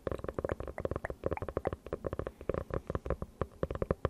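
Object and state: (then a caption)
Hardcover notebook tapped and scratched. Long nails rapidly tap and scratch the cover of a closed dark hardcover notebook with a faux-leather cover, held beside a Pink Dawn Yeti microphone. A dense run of short, dry taps with dull low thumps and soft scratchy texture follows, each tap dying away almost instantly.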